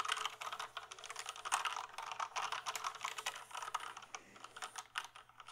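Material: Plastic.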